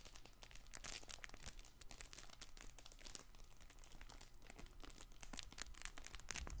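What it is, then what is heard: Fabric crinkle toy ball. A soft stuffed fabric crinkle toy ball with a ring and ribbons is squeezed and scratched with fingertips. It gives off a steady stream of bright, dense crinkling and crackling over a low background rumble.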